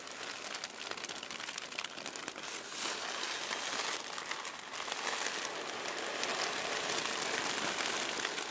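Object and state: Tissue paper being crinkled.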